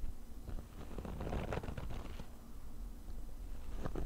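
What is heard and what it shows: Short fingernails on both hands rapidly scratch the fabric top of a small, hollow, black padded nylon zip case. The result is a dense, continuous, low, hollow rustling scratch with brief sharp scrapes poking through. It swells in the middle, dips briefly and picks up again toward the end.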